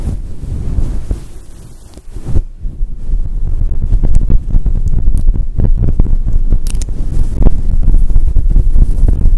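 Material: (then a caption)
Synthetic fur. A fluffy grey and white synthetic fur windscreen over a microphone is scratched and rubbed with long acrylic nails. The result is a deep, muffled rumbling rustle of quick, uneven scrapes, almost all low bass. It starts softer and grows steadily louder after the first couple of seconds.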